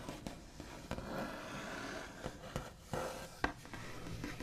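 The backs of fingernails tap, scratch and trace across the smooth white-painted finish of a large solid wooden table top. Six short, dull taps with almost no ring stand out over a soft, continuous scratchy rubbing.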